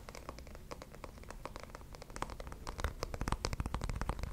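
Fingertips and nails tap and scratch the surface of a small, rectangular, likely hollow wooden box held in both hands close to the mic. Quick, irregular dry taps and scratchy strokes come in a steady patter over a low rumble. The patter grows louder and busier in the second half.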